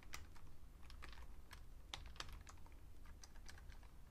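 Fingertips with painted nails type on a vintage beige plastic full-size Fujitsu Siemens keyboard resting on a red mat. The soft, irregular keystrokes are short, sharp clicks with a bright edge that stop almost instantly, over a steady low hum.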